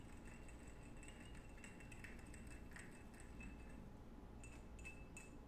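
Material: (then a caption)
Glass. Fingertips and nails tap and clink quickly on the body of a small clear glass perfume bottle with a gold metal cap, held in one hand. Bright, high glassy pings ring out in short bursts over a quiet, steady low rumble.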